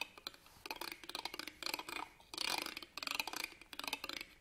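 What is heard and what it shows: A black pen scratches along the ribbed metal clasp frame of an embroidered fabric purse held upright on a table. The result is a series of quiet, bright, rasping scrapes in short bursts, made of rapid ticking clicks with almost no low end.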